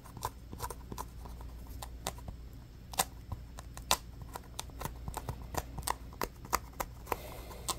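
A small orange solid polyurethane foam stress ball with a pebbled basketball texture is held in the hands and scratched quickly with the fingernails. About twenty short, crisp, bright scratches stand out over a steady low hum, each dying away almost at once.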